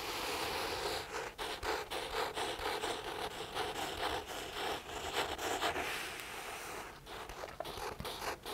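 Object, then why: Paperback book paper pages. Fingertips scratch and rub the printed paper pages of an open paperback book. The result is a steady, dry, bright scratching with quick repeated strokes that rise and fall in loudness, plus a faint low tone underneath.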